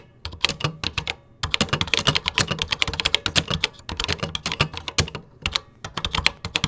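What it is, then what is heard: Plastic computer keyboard. Fingertips type in a steady rhythm on the beige plastic keys of a 1980s computer keyboard. The rapid, bright keystrokes clack crisply and die away almost instantly, with a few short pauses between bursts.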